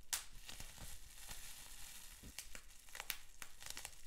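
Fingertips scratch, pinch and pop a sheet of clear plastic bubble wrap with small bubbles. Quiet, continuous crinkling and scratching is broken by sharp, bright snaps as the bubbles burst.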